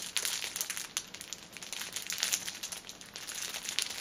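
A six-pack of pocket tissues wrapped in clear plastic film rests on a table while fingers and nails squeeze and crinkle its ends and top. The result is a steady stream of bright, crisp crinkling and crackling with sharp little snaps and almost no low end.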